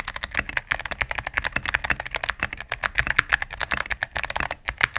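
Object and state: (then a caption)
Mechanical keyboard with plastic keycaps. Fingertips and medium-length nails type rapidly on a cream, full-size mechanical keyboard with plastic keycaps on a solid plastic case. A fast, steady stream of sharp, bright clacks comes through with very little low end, and each keystroke cuts off almost instantly.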